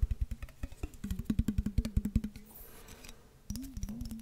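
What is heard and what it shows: A clear glass mason jar with a metal lid, partly filled with water, is tapped with fingertips close to the microphone, giving a quick run of dull, low knocks that crowd together in the middle. The taps then stop while the jar is turned upside down, bringing a soft, bright wash of sloshing water, and the tapping resumes at a gentler pace.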